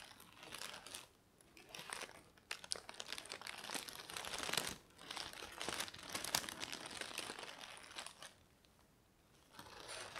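Thin lilac tissue paper, folded into a loose bundle on a beige fabric surface, is pressed, crumpled and unfolded by fingertips with medium-length nails. Bursts of dense, bright crinkling with sharp rustling snaps alternate with near-silent pauses around 1 second, 5 seconds and 9 seconds. The sound sits almost entirely in the high range, with very little low end.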